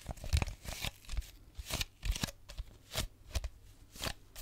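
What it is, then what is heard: Plastic bottle. An empty clear plastic drink bottle is held at the mic and tapped and scratched with fingernails. A series of short, crinkly, crunchy taps each lands with a dull low thump and a bright scratchy hiss, separated by quieter rustling. Each tap dies away quickly.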